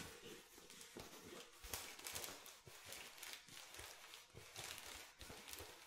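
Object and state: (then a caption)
Plastic water bottle. Fingernails tap the ridged bottom of an empty clear plastic water bottle with a blue label and cap. The result is a steady run of quick, bright, crackly clicks, some sharper and louder than others, over a hissy background with little low end.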